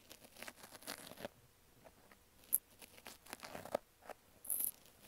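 A pink wavy foam kitchen sponge with a green scrub layer, cut into an ear shape and held by fingers with nails, is scratched and poked inside its slit with a thin wooden-handled pick, probably an interdental brush. Quiet, dry crinkly scratches and scrapes come in uneven bursts, with a few sharp, bright ticks and a brief hiss near the end.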